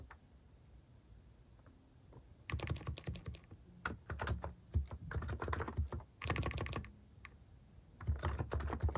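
Fingertips type rapid taps on a compact electrostatic-capacitive keyboard with cat-face plastic keycaps in cream, brown and pink, resting on a wooden desk. Quiet, low, thocky keystrokes come in bursts with brief pauses between, each tap short with little ring.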